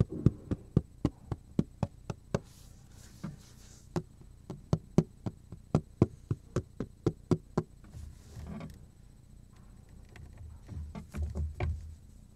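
A black plastic cutting board with a handle hole is held upright while fingertips knock and tap on its surface. A quick, steady run of short, dry, low knocks dies away almost instantly, about thirty in all. Toward the end they give way to softer brushing sounds and a few last taps.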